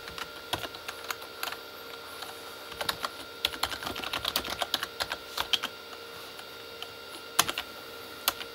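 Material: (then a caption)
Plastic. Both hands type with their fingertips on a full-size, hollow Corsair K35 backlit mechanical keyboard with plastic keycaps on a plastic body. Quick, bright, clicky taps come in uneven bursts over a faint steady background tone. After a quieter stretch around six to seven seconds, a few louder isolated taps follow.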